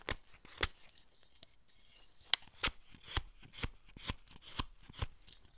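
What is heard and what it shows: A steel chisel slices and scrapes along the long flat face of a solid hinoki cypress carving, a decorative foot for a Buddhist statue pedestal. Short, dry, bright cutting strokes come in a steady series, each with a crisp high rasp that stops almost instantly, between quiet faint scraping.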